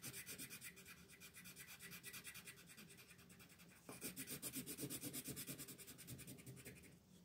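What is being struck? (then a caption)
Colored pencil on a paper sheet. A green colored pencil is rubbed back and forth in quick, repeated shading strokes across a flat paper coloring sheet, while the other hand, with long red nails, rests on the page. Each stroke gives a dry, bright, scratchy rasp with a soft low rumble beneath, in a steady rhythm. The strokes grow noticeably louder and harsher about halfway through, then ease off at the end.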